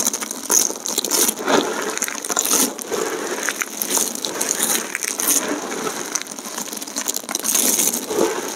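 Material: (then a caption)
Soap. Fingertips press and crush a pile of thin, hard, multicolored dried soap plate chips, and handfuls are sprinkled back onto the heap. Dense, bright crackling and crunching snaps run continuously, with a steady high hiss and short brittle clicks that die away quickly.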